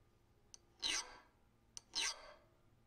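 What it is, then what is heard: File scraped on a steel knife blade. Fingertips scrape a small steel hardness-testing file across the edge of a flat, solid, hand-forged steel knife blade with a dark scaled finish, resting on a wooden workbench. Two short, bright, hissing scrapes are heard, each preceded by a sharp tick. Each scrape fades quickly into quiet.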